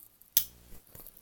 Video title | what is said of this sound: 23 juillet 2018 | Ça sonne... ploup. Ça fait étouffer